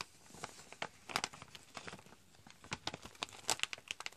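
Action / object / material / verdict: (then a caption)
shake / foil-lined plastic pouch / foil-lined plastic / none. A medium-size, partly full chicory drink pouch made of foil-lined plastic is held in both hands and crinkled and squeezed with fingers and nails. It gives a quiet, irregular series of sharp, bright crackles and crinkles that stop almost instantly, with little low end.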